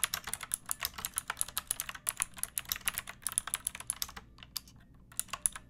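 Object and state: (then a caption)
Plastic mechanical keyboard. A pink plastic mechanical keyboard with round backlit keycaps and a hollow body is typed on with long painted nails and fingertips. The result is a rapid run of crisp, bright clicky keystrokes over about four seconds, then a few scattered taps after a short pause.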